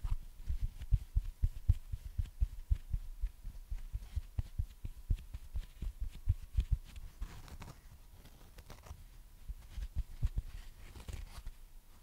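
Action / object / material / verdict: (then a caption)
tap / watermelon-slice foam sponge / foam / none. A dry, flat watermelon-slice foam sponge held in hand is tapped and scratched with long painted fingernails and squeezed. Soft, muffled low thumps come in an uneven patter, loudest in the first half, then ease into quieter, scratchy rustling. A faint steady tone sits underneath.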